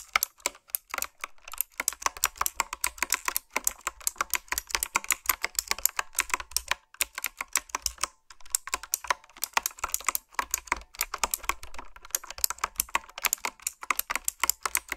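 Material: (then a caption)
Plastic. Fingertips and long nails type on a retro, typewriter-style mechanical keyboard with round, backlit plastic keycaps. The result is a steady stream of bright, sharp clicks with very short decay, broken by a few brief pauses.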